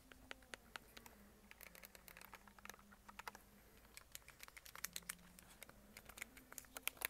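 Fingertips and nails tap and scratch the back of a white plastic Logitech G Cloud handheld game console, a tablet-sized device. The clip is a quiet stream of short, dry, bright clicks and scratchy taps with no ring, over a faint, low, wavering hum.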